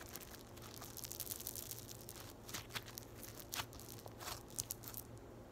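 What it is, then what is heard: Floam (foam beads in slime) being squeezed. A small handful of yellow floam, a soft solid mass of polystyrene microbeads in slime, is squeezed and poked by fingers with long white acrylic nails. It gives a dense run of bright, crackling crunches and wet squishes, with a few sharper pops standing out. A faint, steady low hum runs underneath.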